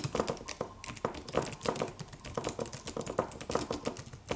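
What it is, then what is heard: Aluminum keyboard with plastic keys. Fingertips of both hands type on a slim, solid, low-profile silver aluminum computer keyboard with white plastic keys. A steady run of short, crisp clicks and taps with a mid-pitched clack and bright edges, each dying away almost instantly.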